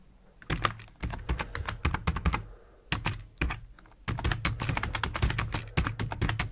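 Fingertips type rapidly with both hands on a black plastic computer keyboard with hollow plastic keycaps, resting on a desk. Quick bursts of clacking, thumpy key presses come with brief pauses between runs. Each stroke is short and dry, with a low body under a bright click.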